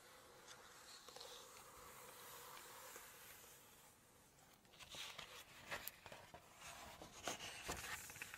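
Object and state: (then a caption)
Glossy paper cookbook page. Long nails scratch the glossy paper of a large hardcover Chinese cookbook lying open to a map spread, making a soft, steady, bright rasping hiss. The page is then turned, bringing louder, sharper crackles and crisp rustles of the stiff, glossy paper.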